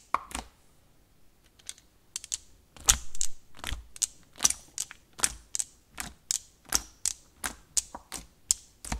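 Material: Slime.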